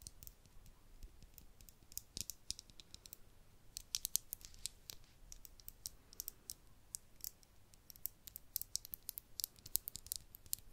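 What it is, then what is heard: Small glass vial tapped with nails. Long acrylic nails tap a tiny, empty-looking hollow glass vial with a cork stopper held in the fingers. The result is a quiet, irregular run of sharp, bright clicks that stop instantly, over a faint low background hiss.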